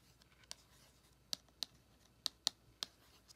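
Long acrylic nails tap and scratch the front of a small, closed, flat printed cardboard eyeshadow palette with a Star Wars Mandalorian design and a raised embossed face. Six sharp, bright clicks ring out at uneven intervals, with no low end and only a faint scratchy hiss between them.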